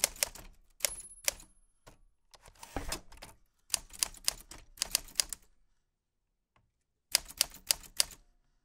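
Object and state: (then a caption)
Metal vintage typewriter being typed on. White-gloved fingertips press the round keys of a black 1940s Smith-Corona portable typewriter with a metal body and paper loaded. Sharp, bright key clicks and typebar strikes come in quick bursts, with a pause of near silence before a final flurry of strikes.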